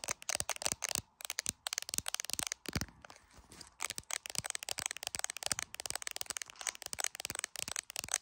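Long pointed acrylic nails tap rapidly on the camera bump and back of a handheld iPhone in a clear plastic case. The dense run of sharp, bright clicks has almost no low end and is broken by a few short pauses, including a quieter scraping stretch near the three-second mark.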